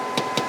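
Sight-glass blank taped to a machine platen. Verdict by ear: Solid.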